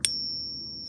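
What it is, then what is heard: Fake silver coin. A counterfeit Peace dollar coin, gripped in a tester, is tapped once. It gives a bright metallic ping with a high, thin ring that lingers faintly to the end. The ring is much higher-pitched than a genuine silver coin's, marking the coin as fake.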